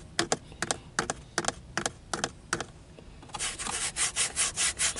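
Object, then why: Polyurethane steering wheel rim. Bare fingertips and short nails tap and scratch along the top of a car steering wheel's thick, solid, dark grey textured rim, a molded polyurethane grip, with the gauge cluster behind it. Seven quick, dry double taps come first, each with a bright click and almost no ring. They give way to a steady run of rhythmic, hissy scratching strokes that fill the high range.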